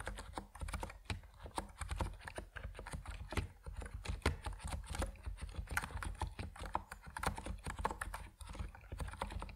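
A compact plastic Epomaker NiZ Plum Atom 68 mechanical keyboard with white and purple PBT keycaps is typed on quickly with the fingertips. The result is a dense, steady stream of short, dull clacks with deep low-end thock and very little ring.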